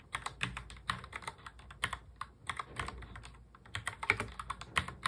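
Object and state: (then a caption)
Plastic mechanical keyboard. Fingertips of both hands touch type quickly on a full-size black plastic mechanical keyboard. A rapid, uneven stream of sharp, bright clacks follows, each keystroke dying away almost instantly. There is a brief softer lull near the middle before the typing picks up again.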